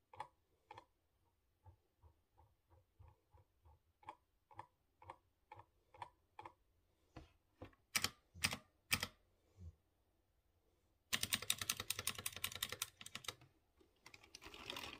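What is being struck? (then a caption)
Mechanical keyboard with round keycaps. Fingertips with short dark-painted nails press the keys of a light-blue, typewriter-style mechanical keyboard with round chrome-rimmed keycaps on exposed blue switches in clear housings. Slow, separate bright clicks come first, then a few louder, sharper clacks, before the keystrokes break into a fast, dense stream of crisp clicking.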